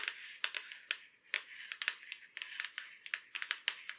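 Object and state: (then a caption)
Laptop lid tapped with fingernails. Long curved black acrylic nails tap and scratch across the back of a silver Acer laptop lid, a thin hollow shell. About nineteen quick, sharp clicks sound in an uneven rhythm, each dying away almost at once. Soft scraping fills the gaps, and the sound is bright and thin with no low end.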